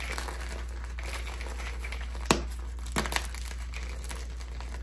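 Red and purple dyed gym chalk blocks (magnesium carbonate) in a clear bowl are crushed and crumbled between bare fingers and palms, giving a steady dry crinkling and crumbling texture over a low hum. A few sharper cracks stand out near the middle and later in the clip as the solid, brittle chunks break apart into powder.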